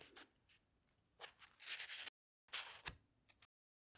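Fingertips rub and turn the glossy paper pages of a large open hardcover book. The sound is a quiet, bright rustle with short swishes and crinkles as the pages slide and flip, falling to dead silence twice between bursts.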